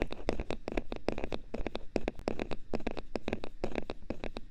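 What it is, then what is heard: Hard plastic pieces. Small pieces of hard thermoplastic are tapped in a rapid, uneven series of short, dry clicks. Each tap has a hollow midrange body and dies away almost at once.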